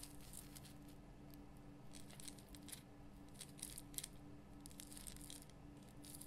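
Long fingernails scratch the top and sides of a large pink Himalayan rock salt lamp with a rough crystal surface. Quiet, dry scratching and bright crackly bursts come and go over a steady low hum.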